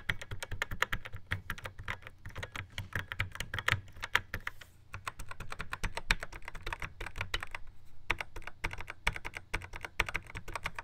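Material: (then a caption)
Plastic. Fingertips drum rapidly on the pads and buttons of a Yamaha RX11 drum machine in a black plastic housing. The result is a steady stream of dry, clicky taps, each with a soft low thump and a bright, short snap that dies away almost instantly. The tapping briefly thins out partway through, then resumes.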